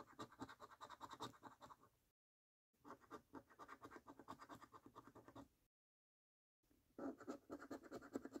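A coin held in the fingertips scratches the coating off a thin paper lottery scratch card with a scratch-off coating, resting on a dark table. Three bursts of rapid, uneven scraping strokes are heard, separated by two brief silences. The scratching is dry and papery, with energy spread from the low mids up into a bright hiss.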